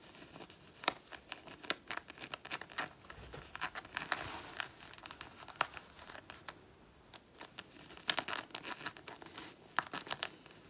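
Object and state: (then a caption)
Faux leather jacket being scratched. Long natural nails scratch and claw at a soft, thin black faux leather biker jacket worn over a person's side. The result is a run of dry, crinkly scrapes and sharp, bright clicks that swell and fade, with a quieter stretch just past the middle before the clawing picks up again.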